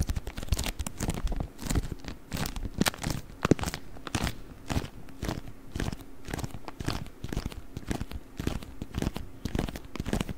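A rolled beeswax-coated cotton wrap is squeezed and crinkled with the fingers, giving a steady run of dense, crisp crunches and crackles. The sound is mostly low-weighted with short, dry snaps that fade almost instantly, and a faint steady hum sits beneath it throughout.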